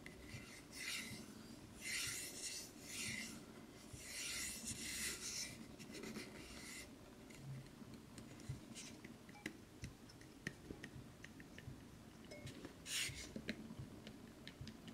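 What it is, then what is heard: Wooden box scratched with nails. Fingernails scratch and rub along the edge and sides of a small, light, hollow wooden craft knife box that is closed. Bursts of dry, raspy scratching fill the first seven seconds, then quieter stretches follow with sharp little clicks and one more scratchy burst near the end.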